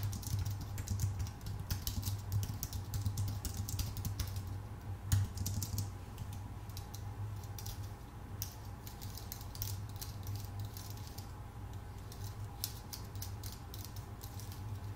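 Both hands type with their fingertips on a full-size white Apple Magic Keyboard, its plastic keycaps set in a thin aluminum body. Soft, rapid key clicks patter steadily over a low hum near 100 Hz, with bright ticks from each keystroke. No count or verdict is stated.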